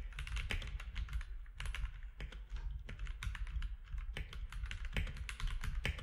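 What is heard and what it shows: Fingertips type steadily on a compact mechanical keyboard with plastic keycaps, producing a rapid stream of short, sharp clicks and clacks with bright key-top transients. Beneath them runs a steady low rumble, and each keystroke dies away almost at once.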